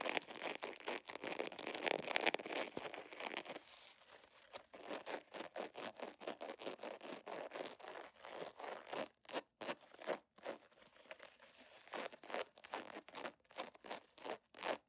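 Long nails scratch and tap the surface of an iridescent, scale-patterned holographic vinyl zipper pouch held upright. A dense, continuous crinkly scratching opens the clip for about three and a half seconds, then gives way to quick, uneven bursts of sharp taps and scrapes. The sounds are dry with no ring, and sit mostly in the mids with a bright edge.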